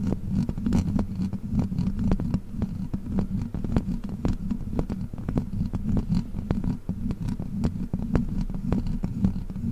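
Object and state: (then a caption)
Metal microphone grille. Long black plastic witch-finger claws scratch and tap rapidly across the hollow metal mesh grille of a large silver microphone. Dense, quick clicks and scrapes ride over a steady low rumbling hum that fills the whole clip.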